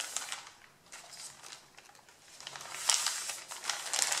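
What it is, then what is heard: Stack of paper sheets being rubbed and crinkled. A stack of thin white printed pattern paper is handled as flat hands and fingertips rub and scratch across the crinkled top sheet and lift pages off. Dry, bright crinkling and scratching rustles swell and fade, growing denser and louder toward the end.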